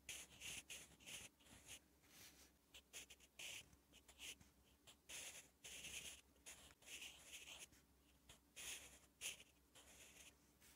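A sharpened wooden graphite pencil is drawn across a thin, flat lined page of a spiral notebook while writing Korean letters. The result is quiet, bright scratching strokes in short bursts separated by brief pauses. A faint low hum sits underneath.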